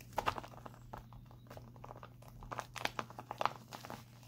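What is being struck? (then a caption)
Plastic instant cold pack. Fingertips with short painted nails tap and scratch across a full, soft, crinkly instant cold pack, a flat white printed plastic pack lying on a lap. Quiet crinkling scratches are broken by brief, sharp crackling taps in clusters, over a faint, steady low hum.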